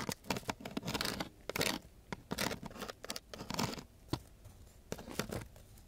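Two thin wooden sticks are scraped across the gritty surface of a coarse sheet of sandpaper. The result is a rapid series of harsh, bright scratching strokes, some short and sharp, others longer rasping swipes, with brief quiet gaps between them.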